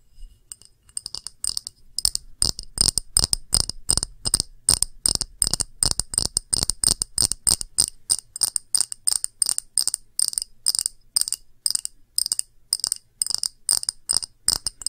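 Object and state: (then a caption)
Clear glass dish. A small, round, empty clear glass dish with a textured underside is tapped with long nails close up. Quick, bright, glassy clicks and clinks come in steady bursts, each dying away almost at once with little low end. The result is a crisp, high-pitched tapping pattern throughout.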